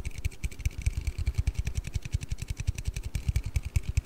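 An aluminium Red Bull energy-drink can is tapped and handled in a quick, steady run of short taps. Each tap gives a dull, low thump with a faint bright click on top, and each one dies away almost at once.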